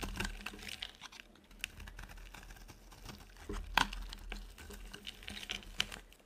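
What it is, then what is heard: Dry soap bar being cut. A utility knife blade scrapes and cuts thin strips from a solid, dry yellow oval soap bar, making quiet, dry, crackly scratching with many short bright ticks. A sharper snap stands out partway through, and the sound stays close and dry, with no ringing after each cut.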